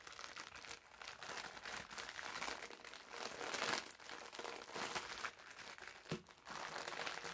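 Fingertips and short nails squeeze, scratch and crinkle the thin clear plastic film sealing a green, hand-sized foam bath massage sponge with a paper label as it is held. The result is a continuous stream of soft, bright crinkling and scratchy rustles with almost no low end, swelling and dipping in loudness. A brief crisp crunch stands out near the end.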